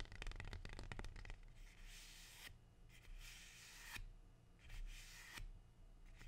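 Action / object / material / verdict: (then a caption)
scrape / rubber plant leaf / leaf / none. A large, thin, glossy dark green rubber plant leaf with a waxy surface is handled and rubbed with fingers and long dark-painted nails. A quick burst of crisp crinkling taps and clicks opens the clip, followed by three slow, bright, hissy rubbing swells that rise and fade over a soft low rumble.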